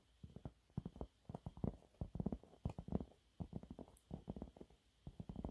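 Fingernails scratch a thin, flat, yellow textured cellulose sponge cloth, making around 27 short, dry scratching strokes in quick bursts separated by brief pauses. The sound is soft and muffled, weighted toward the low end, with almost no bright content and no ring after each stroke.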